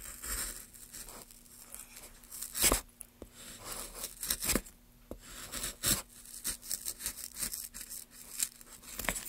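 A carving chisel scrapes and cuts long strokes along the surface of a solid, pale basswood block held in a gloved hand. Dry, bright scraping and tearing sounds come in uneven bursts with sharp, quickly fading cuts, over a faint steady low hum.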